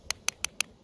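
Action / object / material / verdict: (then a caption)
tap / river rock / stone / none. A river rock is tapped against another rock five times. Each tap gives a sharp, bright click that is mostly high-pitched and dies away almost at once.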